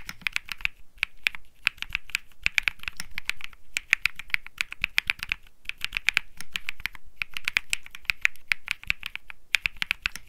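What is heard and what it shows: Fingertips type continuously on a cream Think 6.5 mechanical keyboard with Bsun Lollipop switches and plastic keycaps. A rapid stream of crisp, bright clacks centred near 2.4 kHz stops dead with almost no ring, and the typing runs in bursts with brief pauses between them.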